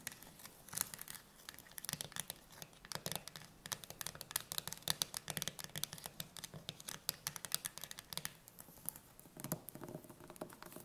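Long nails tap and scratch fast on the metal lid and rim of a green-labelled steel tin can standing upright, closed and likely full. A dense, quick patter of sharp, bright clicks mixes with scratchy rasps, each dying away almost instantly with no ring. The sound stays mostly high and thin, with little low end.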